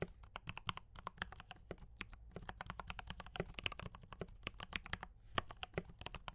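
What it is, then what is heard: Mechanical keyboard with plastic keycaps. Fingertips type continuously on a compact D84 mechanical keyboard with Gateron brown switches and cream and red plastic keycaps. A steady stream of short, sharp keystroke clacks with bright tops and a low thump underneath rides over a faint low rumble, each stroke dying away almost instantly.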